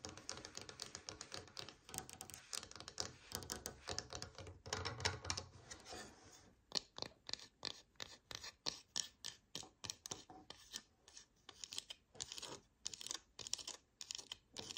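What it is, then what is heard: Bamboo slotted spatula. A slotted bamboo spatula of solid wood, first lying on a table and then held up, is scratched and tapped with long painted nails. Dense, bright scratching fills the first six seconds, then gives way to a steady run of crisp, dry taps with almost no ring.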